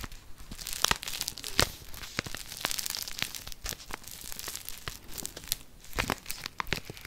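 A small, flat kraft-paper instant soup sachet, held in the hand near the microphone, is scratched and crinkled with long painted fingernails. The result is a steady, bright, close papery crinkling and scratching, broken by sharp crisp snaps and ticks that die away almost at once.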